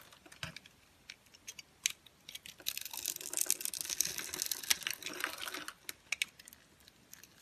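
A green-handled metal utility knife shaves small cubes off the edge of a solid, pale yellow, grid-scored dry translucent soap bar held in the hand. Sharp, bright clicks and crunches come first, then swell into a dense, crackly shaving crunch in the middle. The sound falls back to scattered crisp snaps, all high and dry with almost no low end.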